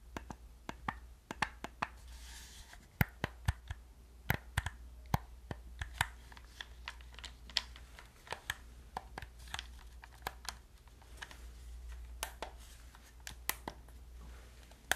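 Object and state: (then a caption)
Plastic game controller being tapped and clicked. Fingertips and nails press the buttons and tap the body of a hollow black plastic gamepad. Sharp, dry plastic clicks and taps come at an irregular pace, some louder and brighter than others. A steady low hum sits underneath.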